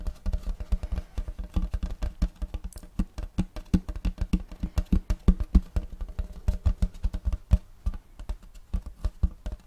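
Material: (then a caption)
Wood. Fingertips of both hands tap rapidly on a large round checkerboard wooden tray held upright, making a steady patter. Each tap is a short, dull, low thud with almost no ring, and the taps come in quick, uneven bursts throughout.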